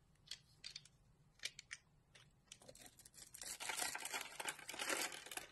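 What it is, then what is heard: Bar of soap being carved. A utility knife blade scrapes and cuts into a solid green embossed soap bar with a pre-scored surface, held in a palm by a hand with purple nails, shaving it into curled strands. Sparse, short, bright scraping clicks give way to a louder, continuous crisp crackling shave through the second half.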